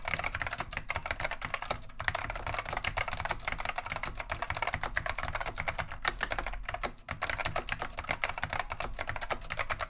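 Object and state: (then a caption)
Vintage mechanical keyboard being typed on. Continuous two-handed fingertip typing on a beige plastic vintage Wang 725 mechanical keyboard fitted with Alps SKCM Neon Green/Lime switches. It makes a dense, steady stream of short, bright, clacky keystrokes with a low thump under each press. The typing pauses briefly just after the seven-second mark.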